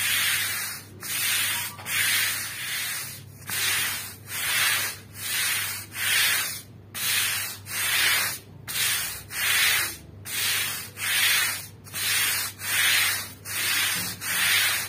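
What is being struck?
Woven rug scrubbed with a stiff-bristled broom.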